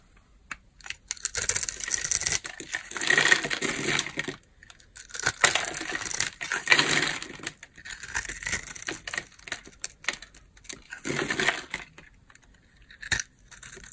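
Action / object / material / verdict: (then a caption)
scrape / bar of soap cut with a knife blade / soap / none. A utility knife blade cuts into a dry, palm-size, solid rectangular bar of blue and white striped soap held in the hand, sending chunks falling off. Bursts of crisp, bright scraping and crackling come in several passes separated by short pauses, with little low end.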